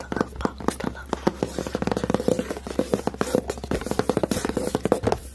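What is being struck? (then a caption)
Cardboard notebook cover. Fingertips and short nails scratch and rub quickly across the dark, textured cardboard cover of a flat, solid hardcover notebook or book, held close up, with a red heart printed "LOVE" and a gold lace border. About thirty fast, dry scratches and taps overlap in a rapid, uneven rhythm, with a faint midrange tone near 480 Hz. A steady low hum runs underneath.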